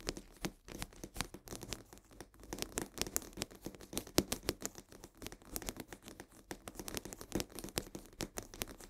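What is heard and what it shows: Long nails scratch rapidly along the sides of a full cardboard box of coarse salt held upright. The result is a dense, quiet run of short, dry scratches with a papery, crinkling texture and bright highs, each stroke dying away almost instantly.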